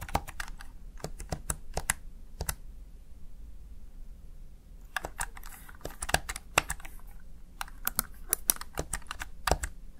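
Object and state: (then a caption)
Plastic gaming keypad. Fingertips and long nails tap the keys of a small, hollow, backlit plastic Razer Tartarus Chroma gaming keypad. Quick, dry, bright clicks come in uneven bursts, with a quiet pause in the middle before the typing resumes.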